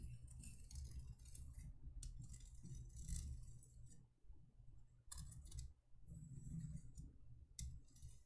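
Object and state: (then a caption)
Embossed metal candle holder tapped and scratched. Long nails tap and scratch the embossed surface of a small, empty, hollow cylindrical candle holder made of thin copper-toned metal, held in the hands. Quick, bright metallic clicks and jangly scraping come in bursts with brief pauses, over a steady low rumble.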